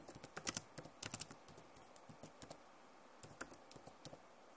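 Long nails and fingertips type on the keys of a backlit plastic laptop keyboard. About sixteen quiet, sharp, bright clicks come in uneven bursts, with a brief pause just past the three-second mark. Each click dies away almost at once.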